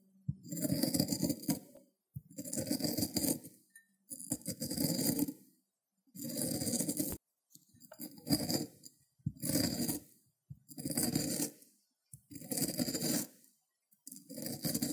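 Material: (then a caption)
Cucumber, ceramic. A whole fresh green cucumber, solid and hand-held, is rubbed in circles on a small white ceramic grater dish with raised teeth while wet grated pulp builds up. Repeated bursts of rough, wet scraping and grating, with a low body and a bright, hissy top, are separated by short silences.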